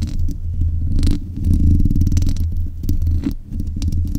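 Long nails scratch and tap the metal mesh grille head of a black USB condenser microphone. The result is a dense, boomy rumble of low thuds and scraping, with almost no high or bright content.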